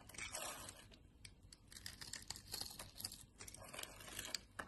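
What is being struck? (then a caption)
Glycerin soap bar cut with a knife blade. A utility knife blade scrapes small cubes off a solid yellow glycerin soap bar that has a grid scored into it and is held in hand. The result is a quiet run of crisp, bright scraping and crunching strokes with short crackling bursts and very little low end.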